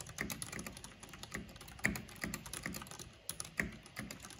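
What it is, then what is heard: Plastic mechanical keyboard being typed on. Fingertips and long painted nails tap the keycaps of a full-size black plastic backlit mechanical computer keyboard with purple RGB lighting. The result is a quick, irregular stream of short, bright clicks and clacks over a soft low thock, with a few noticeably louder strikes standing out.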